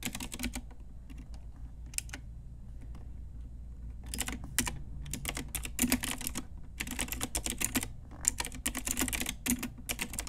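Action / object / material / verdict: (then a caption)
tap / plastic mechanical keyboard / plastic / none. A full-size pink Ajazz typewriter-style retro mechanical keyboard with round plastic keycaps on a hollow plastic case is typed on with long nails and fingertips. Bursts of rapid, bright, dry plastic clacks come in quick runs, with a sparser, quieter stretch near the start, over a steady low hum.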